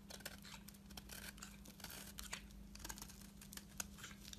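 A metal blade scrapes along the surface of a solid lilac soap bar held in hand, peeling off long thin soap shavings. The result is a quiet, dry, high scratchy crackle with many short bright rasps and small clicks, over a steady low hum.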